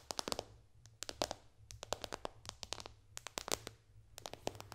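Long dark fingernails from both hands tap fast on the glass screen of a white-bezel iPad lying flat on a lap. Quick bursts of sharp, bright clicks come in irregular clusters, each tick dying away almost instantly over a faint low hum.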